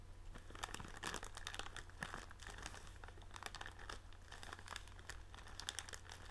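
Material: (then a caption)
Plastic film. A blue printed plastic film bag of tealights is held in the hands while fingertips rub, scratch and crinkle the wrapper. The result is continuous, fairly quiet crinkling, with dense bright crackles and short scratchy bursts over a steady low hum.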